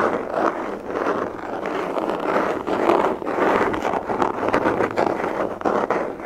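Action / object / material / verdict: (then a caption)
scrape / molded hard plastic pistol case / hard plastic / none. Long fingernails tap and scratch a hollow, black molded hard plastic pistol case held up close. The result is a steady, dense run of dry scratching mixed with quick, light, hollow taps. The sound sits in the midrange, with little deep low end and little bright top.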